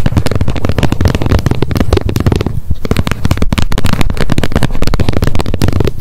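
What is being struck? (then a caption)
Plastic wet wipes pack lid. Long nails tap quickly on the edge and face of the plastic lid of an upright wet wipes pack. Dense, rapid clicking with a low, thumpy body continues without pause, with a short dip in the middle.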